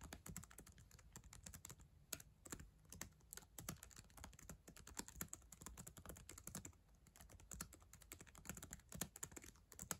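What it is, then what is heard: Plastic laptop keyboard. Long acrylic nails and fingertips type fast on the plastic keys of a black ThinkPad laptop keyboard, a solid device. A rapid, uneven run of short, sharp clicks sounds out, each bright tap dying almost instantly over a low thud from the keys bottoming out.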